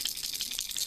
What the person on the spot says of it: it's a very very simple rattle